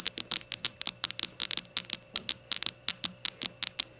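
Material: Glazed ceramic.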